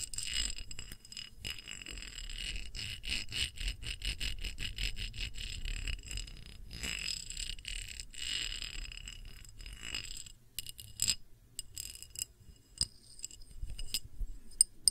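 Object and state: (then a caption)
Clear glass dish. A small round clear glass dish with bead feet is tilted and tapped with long nails on its rim and feet. Rapid, light clicking taps with bright, high glassy tones run steadily for about ten seconds, then give way to sparser, sharper taps, over a faint low rumble.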